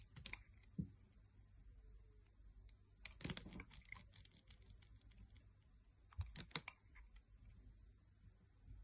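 A metal blade carves smooth curled slices from the surface of a solid, oval, pale pink bar of soap held in the hand. Short, crisp scraping and clicking bursts come in scattered clusters, with quiet gaps of soft low rumble between them.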